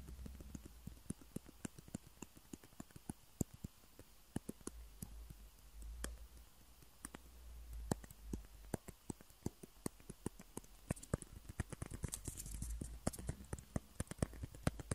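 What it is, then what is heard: Plastic ping pong balls. Two small hollow white plastic table tennis balls with printed logos, one held in each hand, are tapped and clicked with fingernails. Dozens of sharp, dry, very short clicks come in an irregular, quickening rhythm over a steady low hum, with the clicks reaching into bright high tones.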